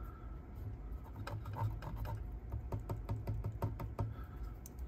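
A metal part beside the large power transformer of a vintage Pioneer CT-91a cassette deck is handled and tapped during restoration, giving a quick series of short, dull metallic knocks and rubs over a steady low hum. The part sounds like metal, and the deck is built like a tank, which is why it is so heavy.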